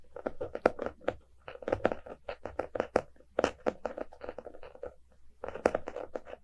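A closed, solid hardcover book with a paper-covered cardboard cover lies on a rug and is tapped and scratched with the fingertips and short nails of both hands. About thirty quick, dry taps and scratchy strokes centered around 500 Hz stop almost instantly, with short pauses between bursts.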